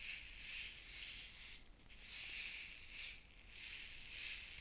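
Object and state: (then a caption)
Plastic containers of glass seed beads. A tower of stacked small clear plastic jars holding fine glass seed beads in blue, white, pink and red is held first horizontally, then upright, while long painted nails tap and scratch the plastic sides. The result is a soft, bright, hissing rattle of shifting beads that swells and fades in waves, with two brief dips, and almost no low end.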